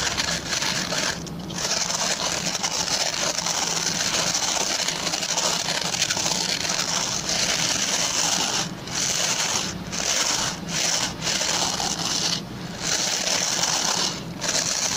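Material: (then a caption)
Plastic. Fingertips and short nails scratch the stubby plastic pin bristles of a hand-sized oval white plastic brush. A dense, bright, crackling scratch runs almost continuously at a steady level, broken by several brief pauses, with very little low end.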